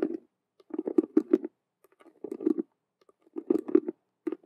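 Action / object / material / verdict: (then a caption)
tap / faux leather cube-shaped handbag / faux leather / none. Long nails tap and scratch quickly across the stitched colored vinyl patches of a hollow faux leather Rubik's cube handbag. Rapid bursts of soft, hollow, low-mid taps with light scratchy edges come in clusters separated by brief pauses.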